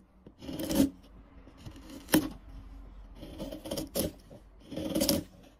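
A dark steel chisel is pushed by hand along the faces of a solid, light-colored wood block marked with a pencil outline and surrounded by shavings, peeling off curls. Several short, rasping scrape strokes are heard, each a dry bright shaving sound with a low woody body, separated by brief quiet pauses.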